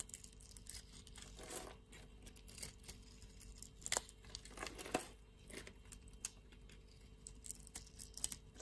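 A metal blade scrapes curls and cubes off a solid blue and white striped bar of soap held in the hand. Quiet, dry scraping and crisp tearing, crumbly sounds come in irregular bursts with bright crackles, the loudest strokes landing around the middle of the clip.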